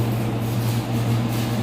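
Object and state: Nothing is struck.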